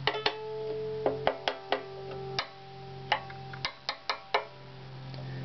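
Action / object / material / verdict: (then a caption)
tap / wooden violin / wood / none. A full-size varnished wooden violin with a hollow body and strings, held on a padded bench, is tapped 13 times with fingertips or knuckles across its bridge, back plate, fingerboard, upper body and tailpiece area. Each tap gives a short, dry knock, while the strings ring on in sympathy as steady tones around 400 Hz between the taps.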